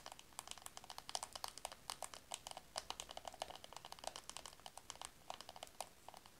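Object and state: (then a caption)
Plastic compact mirror. Long acrylic nails rapidly tap and scratch a small, round, hollow black plastic compact with a mirror, held close to the recording. The result is a quiet, fast run of dozens of crisp, dry clicks with a hollow tone around 730 Hz and a bright edge, each dying out almost instantly over a faint scratchy texture.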